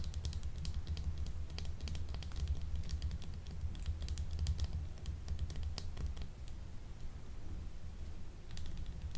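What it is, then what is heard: Soap bar tapped and scratched with nails. A small, solid, translucent blue soap shaped like a gemstone, unwrapped and held in one hand, is tapped and scratched with long acrylic nails. Quick, dry clicking taps and light scratches come in dense bursts, bright and short, over a steady low hum.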